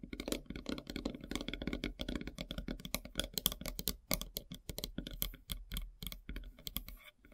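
Long silver nails tap quickly across a large, solid, flat slice of light-colored wood with a bark edge. The result is a rapid, dry stream of short, clicky taps with a bright edge and a soft low thump beneath.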